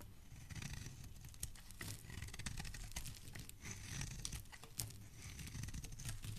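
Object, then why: Bar of soap shaved with a metal blade. A metal blade shaves long strips from a solid blue bar of soap, making a continuous dense crackling scratch with sharp, bright crisp ticks over a soft low rumble. The shavings crumble onto a pile while the bar is turned in the fingers.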